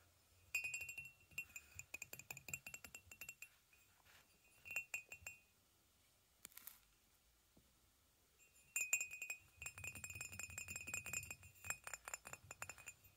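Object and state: Ceramic mug tapped with fingernails.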